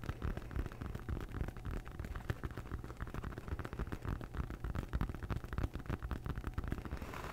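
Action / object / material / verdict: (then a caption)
scrape / rolled foam yoga mat / foam / none. A large rolled-up red textured foam yoga mat, held upright beside the mic, is scratched and tapped with long nails. The result is a dense, irregular stream of dull, low-heavy scrapes and soft taps with very little ring, rustling continuously for about seven seconds.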